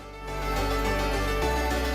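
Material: Nothing is struck.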